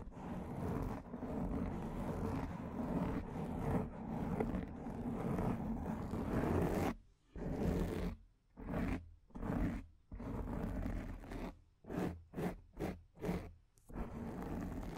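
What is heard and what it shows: Long dark nails and fingertips of both hands scratch and rub a large rounded black foam windscreen on a microphone. A dense, muffled, low-heavy scratching rumble runs steadily for about seven seconds. It then breaks into short rubbing bursts separated by brief silences before settling back into continuous scratching.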